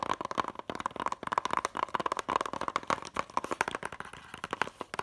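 Long nails tap quickly on the back cover of a closed, hollow white plastic DVD case with a paper insert. The result is a rapid run of dry, sharp clicks with a hollow plastic tone centered around 1 kHz, each dying almost instantly, with little low end.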